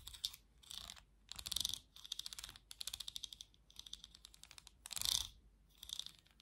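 Long nails tap and scratch across the slotted back and bristles of a black plastic vented hairbrush. The result is a run of bright, dry clicks and rasping scratch bursts centered around 3.6 kHz, with almost no low end and no ring after each tap.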